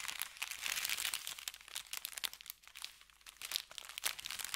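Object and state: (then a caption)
Paper bag. An empty brown kraft paper bakery bag with red lettering, lying flat on felt, is rubbed and scratched with the fingertips. The result is a dense run of bright, dry crinkling and scratching that swells and fades for several seconds, with almost no low end.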